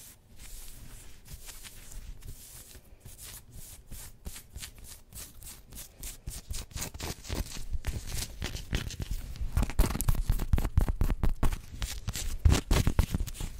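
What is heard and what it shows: Long nails scratch a worn black pinstriped polyester sports jersey, first at the shoulders and then across the chest fabric, in quick scratching strokes. The soft, dry rasping comes in rapid, uneven bursts that grow steadily louder and denser toward the end.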